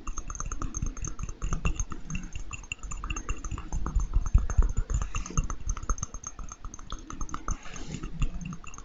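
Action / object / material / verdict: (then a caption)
tap / small clear glass jar / glass / none. A small, hollow, clear glass jar or candle holder, apparently empty, is held in the hands close to the microphone and tapped and scratched with fingertips and nails. Quick, soft taps and scratchy strokes run continuously over a low, thumpy body with faint, bright glassy ringing tones.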